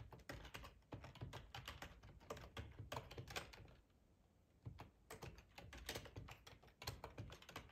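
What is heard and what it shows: Fingertips type on the keys of a black plastic, hollow-bodied split ergonomic computer keyboard, producing a quick run of soft, hollow clacks with a low thump under each keystroke. The tapping stops briefly just before the midpoint, then resumes at the same steady pace.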